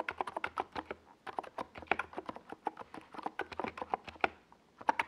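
A NiZ Plum Atom 68, a compact 68-key mechanical keyboard with a hollow white plastic case and purple and yellow Domikey Gas Attack plastic SA keycaps, sits on a desk pad while both hands type on it with fingertips. About 28 quick, dry clacks come in bursts with brief pauses between them. Each keystroke has a hollow, mid-pitched plastic tone that stops almost instantly.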